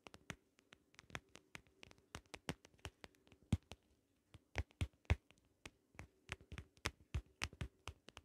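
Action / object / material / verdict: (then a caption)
tap / small plastic shell-shaped compact case with ridged vinyl surface / plastic / none. Long acrylic nails tap and scratch along the ridged holographic vinyl or plastic surface of a small, closed, hollow shell-shaped pocket compact held in one hand. About 33 quick, dry clicks with no ring come in uneven bursts, each a sharp broadband tick over a low thud. A faint steady hum sits underneath throughout.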